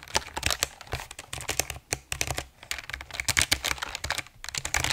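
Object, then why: Mechanical keyboard, plastic keycaps on aluminum plate. Both hands type and tap with their fingertips on a full-size RGB mechanical keyboard with plastic keycaps on an aluminum plate, held in front of the mic. Rapid, bright, short clacks come in uneven bursts with brief pauses, over a faint low hum.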